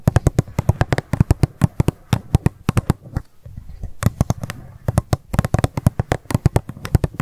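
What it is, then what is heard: Plastic cup tapped with fingernails. Long nails tap rapidly on an empty, hollow pink plastic cup lying on its side. The result is a fast stream of short, dry clicks with a low, hollow body that die away almost instantly. A brief lull comes near the middle before the tapping picks up again.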